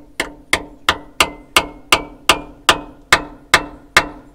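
A steel torx bit, slightly larger than the hole drilled in a seized steel bolt, is hammered into the hole with 11 sharp, evenly spaced metallic taps. The ringing tone rises in pitch as the bit drives in and tightens, showing it is seating further into the bolt.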